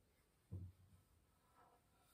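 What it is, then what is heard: Violin back, fingertip tap. A single soft tap lands on the varnished maple back of a hollow wooden violin, which has been turned over from its front and is tapped with fingernails and fingertips. The tap gives a dull, low thud around 90 Hz that fades within a fraction of a second, followed by quiet.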